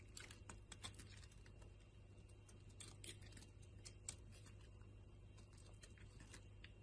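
A utility knife blade carves and scrapes chunks and flakes off a solid purple bar of soap held in the hand. Quiet, crisp, bright scraping clicks and crackles come in quick bursts over a steady low hum.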